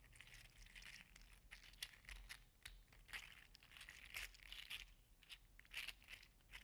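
A green and teal segmented 3D printed PLA articulated slug toy is squeezed and wiggled in one hand, its joints rattling. Dense, bright plastic clicks and crinkly ticks run throughout, with short sharp bursts over a faint low hum.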